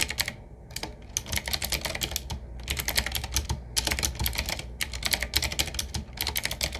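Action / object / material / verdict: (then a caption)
tap / mechanical keyboard with round metal-rimmed keycaps / plastic and metal / none. Fingertips of both hands type on a medium-sized, typewriter-style retro mechanical keyboard with round black keycaps set in metal rings on a wood-finish frame with a hollow case. Fast runs of crisp, bright clicks arrive in bursts with short pauses, each keystroke dying away almost instantly over a low steady hum.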